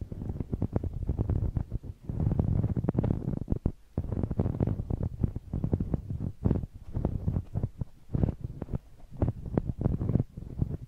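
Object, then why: Rubber spiky massage ball. A large, hollow, blue knobbly rubber massage ball held in one hand has its bumpy surface rubbed and scratched against a small handheld microphone. The result is a dense run of muffled, low, rumbling thumps and scratchy crackles in uneven bursts with brief pauses, heavy in the bass and with almost no high end.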